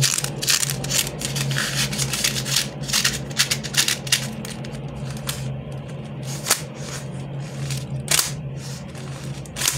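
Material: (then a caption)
Plastic. A pink, flexible, hollow plastic lattice fidget worm is squeezed, stretched long and compressed between fingers and palms. It gives off dense, bright plastic clicks and crackles, with a few sharper snaps standing out over a steady low hum.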